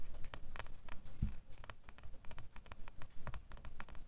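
A small solid metal door key is held in one hand while the fingernails of the other hand tap quickly on its bow and blade. The result is a fast, uneven run of crisp, dry clicks that die away at once, over a faint low rumble.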